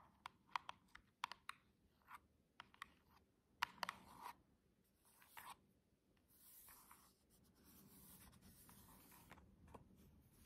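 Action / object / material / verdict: tap / small cardboard box with plastic window / cardboard / none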